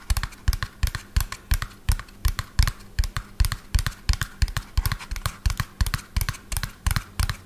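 Fingernails tap quickly and unevenly on the underside of a hollow lime-green plastic toy dump truck turned upside down, with black plastic wheels. Each tap gives a dull, hollow low thump with a bright clicky edge and dies away almost at once, in a steady stream of rapid tapping.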